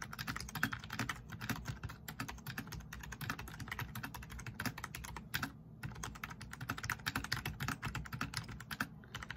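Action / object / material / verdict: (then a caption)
tap / plastic membrane computer keyboard / plastic / none. Fast typing with the fingertips of both hands on a black plastic backlit RGB membrane keyboard resting on a wooden desk. A dense, steady stream of short, dull plastic key clicks and soft thumps, each dying away almost at once, with brief pauses near the middle and end.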